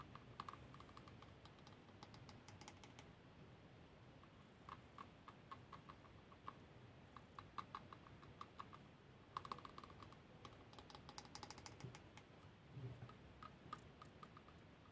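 A small solid-bowled, Khokhloma-painted lacquered wooden spoon, held in the palm by a hand wearing a pearl bracelet, is tapped with fingernails. The result is quiet bursts of quick, light, dry clicks with a slight woody ring around 1 kHz that dies almost at once, over a soft low background hiss.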